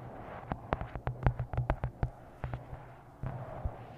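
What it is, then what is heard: Paperback book. Long nails tap on the glossy card front cover of a paperback book, "Twisted Love," held upright. The 14 quick, dry, clicky taps come in an irregular rhythm, with a faint low hum underneath.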